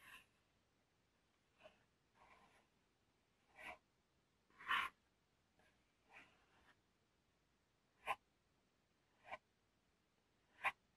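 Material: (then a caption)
Cardboard. Fingernails scratch and tap the top of a hollow, medium corrugated cardboard shipping box with paper labels lying on a table. Soft, papery scrapes alternate with sharp, separate taps that ring only briefly. The sounds are quiet and bright, with almost no low end.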